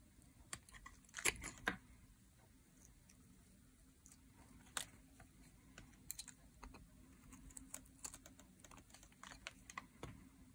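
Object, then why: Bar of soap scraped with a metal blade. A metal blade pushes along the face of a solid green dry soap bar held upright in both hands, forming curled shavings. Quiet, dry, crisp scraping ticks come in irregular bursts, bright and short with almost no ring. A low steady hum sits underneath.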